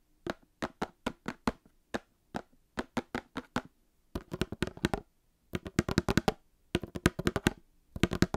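Long painted nails tap on a small Star Wars cardboard trading card box resting by the microphone. Short, dry, hollow taps start slow and evenly spaced, then come in faster clustered bursts. Each tap dies out almost at once, with a soft low body and a bright click on top.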